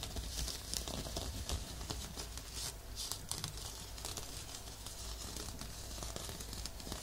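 Fingertips and short nails scratch across the rough surface of a textured, looped, off-white woven fabric exfoliating glove worn on a forearm, held just above a binaural dummy-head microphone. The result is a continuous, irregular stream of dry, crinkly scratching with bright, hissy strokes over a steady low rumble.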